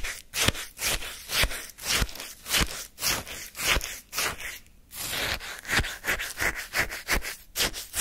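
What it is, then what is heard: Lemon shaved-ice sorbet scraped with wooden spoon. A flat wooden spoon, held by the fingertips, digs into and scrapes pale lemon shaved-ice sorbet topped with a lemon slice in a paper cup held in the hand. About fifteen short, bright, crunchy scrapes come at an uneven pace of roughly two per second, each a burst of gritty, high-heavy noise with a faint low knock, separated by brief pauses.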